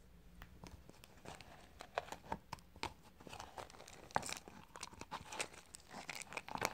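Fingertips press and crush brittle, dry white soap scraps at the bottom of a small clear plastic cup. The result is quiet, dry crunching and crumbling, with a rapid scatter of short, sharp crackles and crinkles.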